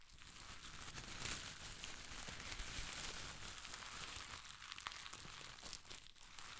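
A ball of thin pastel shredded paper strips is held close and squeezed and crinkled with the fingertips of one hand. It makes a steady, quiet, bright crinkling rustle with irregular small crackles and a few sharper snaps throughout.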